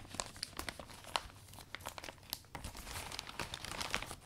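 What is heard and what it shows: Fingertips and palms fold and squeeze the canopy of a closed, butterfly-print vinyl umbrella, a thin flexible sheet over metal ribs, as the new umbrella is wiped down. The result is bright, dry crinkling with many sharp crackles and quick rustles, each dying away almost at once.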